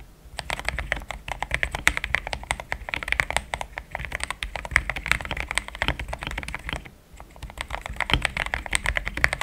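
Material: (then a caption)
Plastic. Fingertips type in steady taps on a pink-framed compact mechanical keyboard with thick cream XDA plastic keycaps, a polycarbonate plate, linear switches and a hollow case. Dense, rapid clacks sound bright with a low thock underneath. There is a brief pause near seven seconds before typing resumes.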